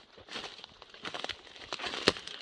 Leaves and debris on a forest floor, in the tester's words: it's real dry and crunchy